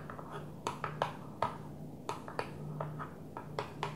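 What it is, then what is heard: Plastic container lid tapped with nails. A flat blue plastic container lid lying on a table is tapped with long nails, giving a series of light, quick clicks with a short, bright ring. The taps come in an irregular rhythm over a low steady hum.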